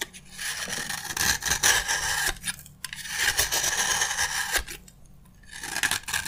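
A utility knife blade scrapes powdery shavings off a solid, hand-sized bar of dry green soap. The result is a rough, bright rasping in repeated strokes, with a steady tone near 1.7 kHz and short quiet gaps between passes.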